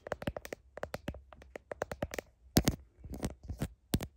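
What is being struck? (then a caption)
Smartphone in a plastic case. Long nails tap and scratch a smartphone in a blue heart-shaped plastic case, including its camera lenses. Quick, dry clicks come in uneven bursts, each with a low thump and a bright edge, and a few louder, fuller taps sound near the end. Each tap dies away almost at once, with no ringing.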